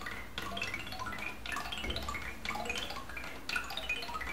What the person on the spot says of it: まるで木琴のような木の音に大人も子供も癒される